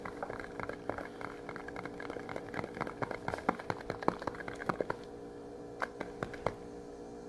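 A small, flat, printed metal tin, likely a closed fish tin, is held in both hands and tapped and scratched with the fingernails. A rapid, dense stream of light clicks and scratchy taps plays over a steady low hum, with a few louder, sharper taps standing out near the middle. The sound thins to sparse taps toward the end.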